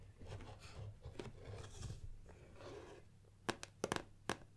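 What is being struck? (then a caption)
Cardboard box. Long nails scratch back and forth across the printed surface of a closed gold cardboard Nikon lens box turned on its side on a wooden table, making a dry, rustling scrape for about three seconds. This is followed by several sharp, crisp taps on the box.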